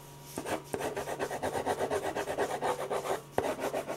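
A metal ballpoint pen rubs dense shading strokes back and forth across a large sheet of white drawing paper resting flat and solid on a firm board. The result is a quick, steady run of dry, raspy scratches, about four per second, with a few sharp ticks mixed in.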